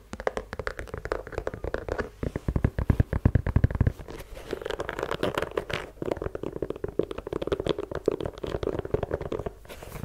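Long yellow nails tap and scratch the rubber sole and leather-look upper of a white low-top sneaker. The result is a dense run of quick, dry clicks and scratchy rasps, with heavier low thumps clustered in the first half and a steadier mid-range scraping texture later on.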